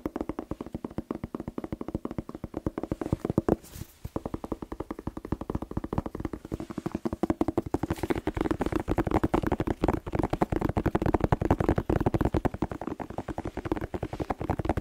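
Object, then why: Whole bell pepper. A whole, hollow red bell pepper is held in both hands and tapped rapidly with fingertips and short nails close to the microphone. The result is a fast, uneven stream of short, dry, hollow taps with a low-mid resonant tone. There is a brief pause around four seconds, and the tapping grows denser and louder from about eight seconds on.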